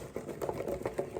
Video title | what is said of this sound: Fall Winter Soup. Hatch Green Chile Fideo Soup With Chicken. Chile Verde Sopa De Fideo Con Pollo. | You hear how crispy they are.